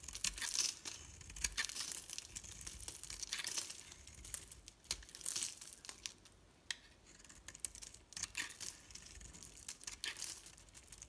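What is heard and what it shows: A metal blade shaves crumbly curls off a solid pink soap bar with a green core, held in the palm. The result is a quiet, steady run of dry, crisp scraping and crumbling, mostly high and bright with very little low end, in dense short bursts that swell and fade.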